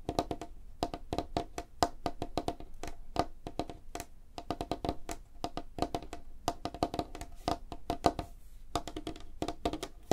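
Long fingernails of both hands tap fast across a large, flat, solid light-wood tabletop. The result is a rapid, uneven stream of dry, clicky wooden taps with a woody ring around 700 Hz and a very short decay.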